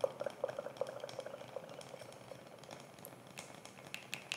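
Long fingernails scratch and tap on a round, flat, palm-sized light wooden coaster, solid and laser-engraved with an etched design. Quick, irregular, dry taps carry a hollow tone around 540 Hz that dies almost instantly. Soft scratching and a few bright, sharp clicks sit underneath at a low, quiet level.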